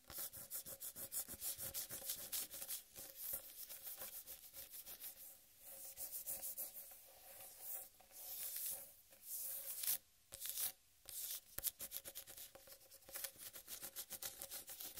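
Long red nails scratch and rub the rind of a large, solid whole watermelon. Quick, dry, bright scraping strokes come in rapid bursts with brief pauses, with a faint steady tone in the mids underneath.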